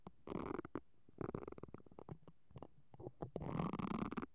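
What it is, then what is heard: Metal mesh microphone grille being brushed. Fingers with long painted nails brush and scratch a pink-handled mascara brush with black plastic bristles across the hollow, perforated metal capsule grille of a silver stereo microphone on a mount. Dense, crackly scraping comes in several bursts, heavy in the low end, broken by quick ticks and short quiet gaps.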